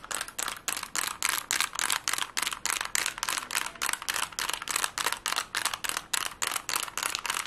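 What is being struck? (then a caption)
Plastic Rubik's cube. A plastic Rubik's cube is twisted fast and tapped with fingernails, giving a rapid, uneven string of about thirty short, bright, clicky bursts of plastic rattle. Each burst is dry and dies away almost at once, with the sound sitting mostly above 1 kHz and almost no low end.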